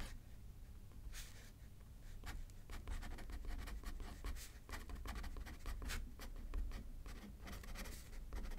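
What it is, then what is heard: Pen writing on a paper card. A pen scratches across a thin paper card resting on a paper pad as it is written on left-handed. The quiet, irregular strokes give short bright scratches over a steady low rumble.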